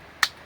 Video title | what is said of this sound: మామిడి చెట్లకు నీళ్లు పడుతున్నాం 🥭 - Watering My Mango Trees! -- Day 11 | ఇటు కొడితే సౌండ్ వస్తుంది, దీని సౌండ్ ఎట్లా వస్తుంది?